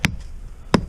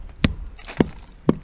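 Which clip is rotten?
The second.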